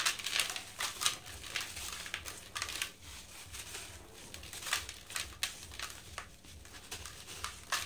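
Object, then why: Sand-cement block. A hand crushes a dry sand-cement chunk with the fingers, sending powder streaming down into a blue bucket. The result is a run of dry, bright crumbling and crackling bursts with quick decays and almost no low end.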